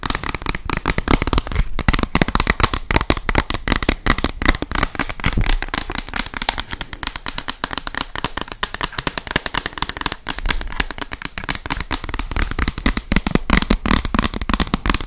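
Long nails tap fast and hard on the glass front of a small white picture frame. The result is a dense, steady stream of sharp, dry clicks with a bright top and a low knock beneath, each tap dying away almost instantly.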